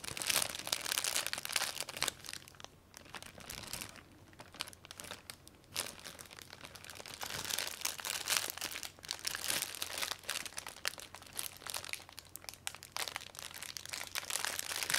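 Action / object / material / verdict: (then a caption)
scrape / plastic zip-lock bag holding a spool of beads / plastic film / none. Fingers hold and squeeze a clear plastic zip-lock bag containing a spool of gold beads, crinkling the plastic film. Dense, bright crackles run throughout, easing to a softer stretch between about 2.5 and 6 seconds before building again.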